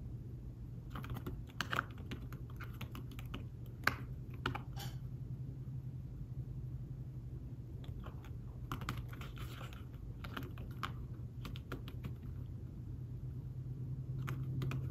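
Fingertips type on a thin folio tablet keyboard with fabric-covered keys, making soft, muted taps in quick bursts with brief pauses. A steady low hum runs underneath, and each tap fades almost at once.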